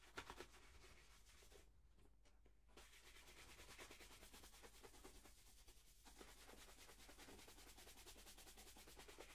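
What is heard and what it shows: A hollow, empty black polished leather dress shoe is held up and brushed back and forth across the toe and upper with a wooden-backed horsehair brush. Quiet, rapid, dry bristle strokes give a steady scratchy rubbing with a bright, hissy edge and a low rumble underneath. The brushing briefly thins out near the two-second mark and again around six seconds before resuming at a steady pace.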